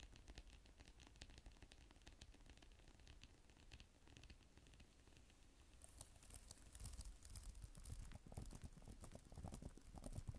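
Long nails type on the plastic keys of a black type-cover tablet keyboard, giving a dense run of quick clicks and taps with added echo. The tapping stays soft and muffled for the first half, then turns louder and brighter from about six seconds on.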